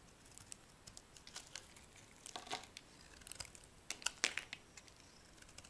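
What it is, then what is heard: Dry soap bar carved with a knife. A small knife carves and scrapes curled shavings from a hand-sized, solid, light-blue bar of dry soap held in one palm. The sound is a quiet run of crisp, bright crackling scrapes and short cuts that end abruptly with almost no low end.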